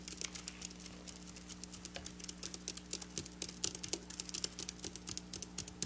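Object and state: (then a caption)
Silver sequin fabric tapped with fingernails. Long black nails rapidly tap flat silver sequin fabric. The taps are quick, uneven, bright clicks with almost no ring, heard over a steady low hum.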